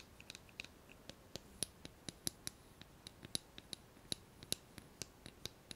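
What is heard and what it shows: Long nails tap and scratch a hollow blue plastic hairbrush handle. The result is a quiet, irregular run of sharp, bright clicks that stop almost instantly, with soft high scratching between them.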